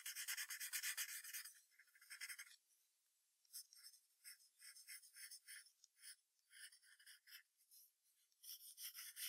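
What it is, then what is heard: Pencil strokes on paper over a hardboard clipboard. A yellow wooden pencil draws long graphite strokes on white paper resting on a brown hardboard clipboard, sketching a fox's neck and chest. Dense, bright scratching and rubbing fills the opening seconds, then after a brief quiet gap, shorter strokes come in quick, uneven bursts before a final run of continuous scratching. The sound is quiet, airy and high, with no low end.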